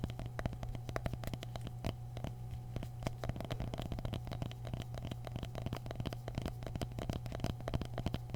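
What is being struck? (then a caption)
Mini pumpkins. Mini pumpkins are tapped continuously with no voice over them, giving quick, short, dull knocks in a rapid, uneven stream. The sound is mostly low and soft, with a steady low hum underneath and faint scratchy crackle between the taps.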